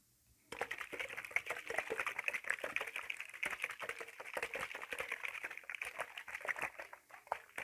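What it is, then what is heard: Plastic spray bottle with some liquid, shaken. A clear, hollow plastic spray bottle with a black trigger head, partly filled with liquid, is gripped by the fingertips and shaken back and forth. After a brief silence, a dense stream of quick, dry plastic clicks and rattles with faint liquid sloshing runs steadily, bright and centered in the upper mids. Each tap is short with almost no ring.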